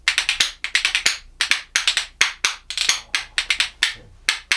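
A pair of dark, solid Indian rosewood percussion spoons is held in one hand and played by knocking them against the hand and knee. About 25 bright, dry wooden clicks come in quick rhythmic bursts and triplet-like clusters, each dying away almost at once.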